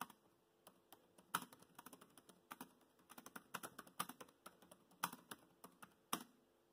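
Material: Plastic.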